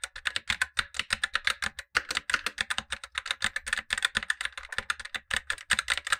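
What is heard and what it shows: A black tenkeyless Razer BlackWidow Lite mechanical keyboard with tactile switches and plastic keycaps over a light plate is typed on continuously by gloved fingertips, while a second keyboard below sits idle. The clip is a steady stream of short, crisp plastic clacks with bright, high upper content and almost no low end, each keystroke dying away almost instantly.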